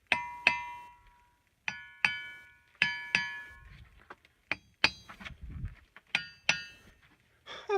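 At the Ringing Rocks site near Butte, Montana, a boulder is struck repeatedly with a hammer, mostly in quick pairs of blows. Each strike gives a bright, bell-like metallic ring centred around 2.5 kHz that fades over about a second. Softer clicks and shuffling fill the gaps between strikes.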